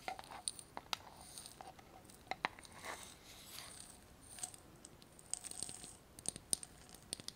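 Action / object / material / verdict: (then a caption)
tap / small glass jar with metal lid / glass / none. A small glass jar with a metal lid, partly filled with small items, is tapped with long nails on both the glass and the lid. Quick, sharp clicks and taps ring bright and high with almost no decay, mixed with faint rattling and crinkling from the contents, all at a quiet level.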